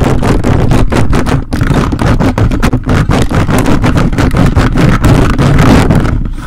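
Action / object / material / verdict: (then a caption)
scrape / metal mesh microphone grille / metal mesh / none. Grey plastic toy robot-hand fingers repeatedly scratch and grip the dark metal mesh grille of a large desktop microphone with a red body and hollow head. The result is a dense, continuous stream of rapid, rough scraping strokes, heavy and rumbling in the low end with little brightness.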